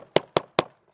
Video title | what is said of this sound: (SOLD)- 2018 Grey Wolf 26DBH Bath Entry Bunkhouse Travel Trailer with Mini Outdoor Kitchenette | now I am thumping on that it's barely moving you can hear how it's solid underneath